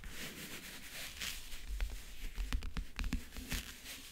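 Fingernails scratch and then tap the lid of a closed, hollow backgammon case with a map-print covering. A soft, hissy scratching opens the clip, followed by about nine short, dry taps that each give a brief hollow low thump. The sounds stay quiet and close, and none of them ring on.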